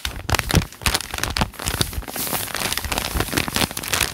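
Hands crumple a page of a thick open notebook with lined white paper while fingertips rub and crinkle the pages. A dense, continuous run of crackling paper crinkles and rustles follows, with short sharp bursts, bright hiss and some low thumps throughout.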